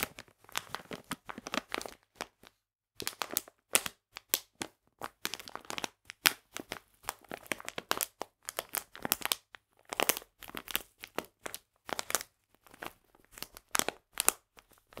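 A printed plastic package full of polenta flour is held in both hands and squeezed and crinkled with fingertips and nails. Dense bursts of bright, crackling crinkles come in quick clusters separated by short silent pauses, with almost no low end and no ring after each crackle.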